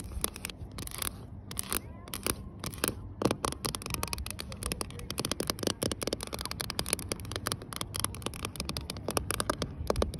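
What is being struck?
Ribbed polyethylene kayak hull side.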